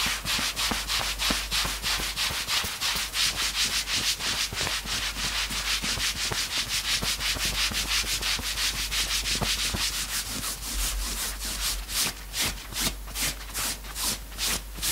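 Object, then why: Knit fabric sweatshirt. Both hands quickly scratch and rub the grey front fabric of a worn knit sweatshirt. The result is a steady, bright, hissy scratching at about three strokes per second, with little low end. Toward the end the strokes become more separated and distinct.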